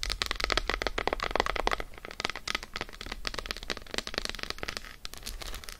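An unwrapped solid dark chocolate bar, patterned side up and resting on faux fur, is tapped quickly with long acrylic nails. The result is a fast, steady stream of sharp, crisp clicks that stop almost instantly, with no ringing afterward.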